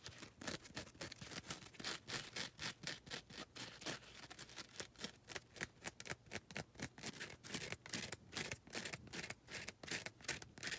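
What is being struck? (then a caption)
Gritty foam nail buffer block. Long red nails scrape and scratch the abrasive faces of a grey, gritty foam nail buffer block. The result is a quiet, steady run of dry, bright, hissy scratching strokes in a loose, uneven rhythm, each ending abruptly with no ring.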